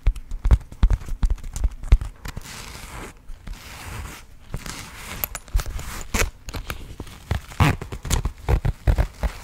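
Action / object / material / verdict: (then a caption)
tap / coated-fabric zip pouch / coated fabric / none. Long acrylic nails tap and scratch a small, soft pink floral Marimekko coated-fabric zip pouch, producing rapid dull, low thumps mixed with soft scratchy rustling. A quieter stretch of continuous scratching in the middle gives way to more bursts of quick, muffled taps that die away almost instantly.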